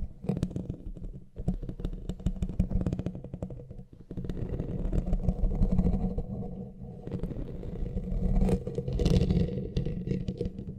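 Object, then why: Metal mesh microphone grille. Fingertips and nails of both hands scratch the bare, hollow black metal mesh head of a studio microphone. The result is a dense, rapid stream of low, boomy rasping and scraping, with a brief dip in loudness around four seconds. The scratching grows louder and brighter again near the end.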